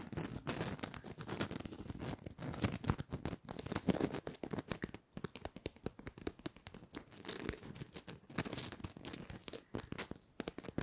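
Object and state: Glitter-coated plastic bauble.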